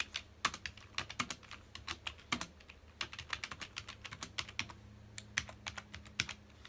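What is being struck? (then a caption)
Plastic computer keyboard. Fingertips of both hands press the keys of a full-size black plastic computer keyboard rapidly on a dark desk, making a quick stream of crisp, bright typing taps. Each click is short and dies away at once, over a faint steady low hum.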